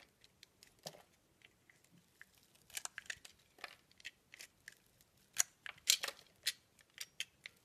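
A metal box-cutter blade cuts and shaves curls from the soft pink rose-shaped centre of a round, hand-sized bar of lime-green soap held in the hand. Quiet, bright scraping and crisp cutting strokes come in short bursts, some louder and harsher than others, with almost no low end and no ringing between strokes.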